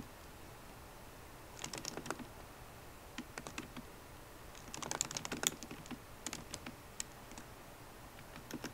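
A MacBook Pro laptop keyboard, with plastic keycaps in an aluminum body, is typed on with long nails and fingertips. Quick, bright, clicky taps come in irregular bursts separated by quiet pauses over a faint steady hiss. Each tap dies away almost instantly.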